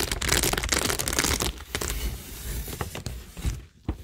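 Long nails scratch across rows of plastic rhinestones, gems and pearls set on a cork tingle board. A dense, bright, crinkly scratching runs for the first second and a half, then thins into quieter, scattered scrapes with a few sharp clicks toward the end.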